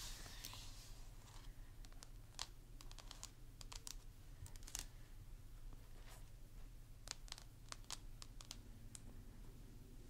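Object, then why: Plastic mannequin head tapped with long fingernails. Long pink acrylic nails on both hands tap and scratch the cheeks and face of a life-size, hollow plastic or vinyl mannequin doll head wearing a curly blonde wig. The clip is a quiet run of sharp, bright clicks and short scratches, each dying out almost at once, over a steady low hum.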